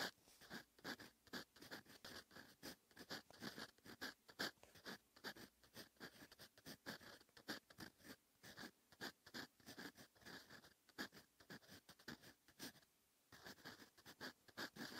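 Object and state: Fountain pen nib writing on paper.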